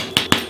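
A freshly baked burger bun is tapped twice, giving two short, hollow knocks with a bright edge and a quick fade. The hollow sound shows the bun is baked through and done.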